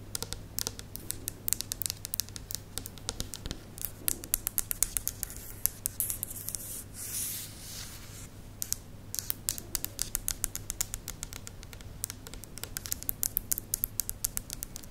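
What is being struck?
Plastic spiral lamp.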